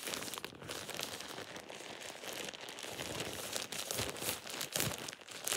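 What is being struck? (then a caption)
Thin plastic shower cap. A thin, soft, light-colored plastic shower cap with an elastic edge, hollow and empty, is crumpled and squeezed in a bare hand. It gives a steady, irregular crinkling and crackling that is bright and crisp, with little low end. Short rustling bursts rise and fall throughout without pause.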